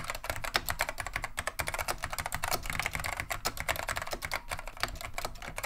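Both hands type continuously with fingertips on a beige plastic vintage Wang 725 mechanical keyboard fitted with Alps SKCM Neon Green/Lime switches. The clip is a steady stream of quick, sharp, bright clacks with very short decay and a low, hollow plastic undertone beneath the keystrokes.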